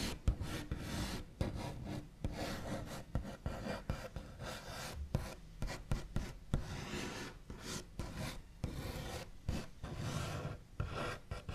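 The backs of fingernails scratch, tap and trace rapidly across a wooden tabletop, giving a dry, rasping wooden texture. Quick taps are mixed into the continuous scratching, with most of the energy low and dull and only a little bright edge.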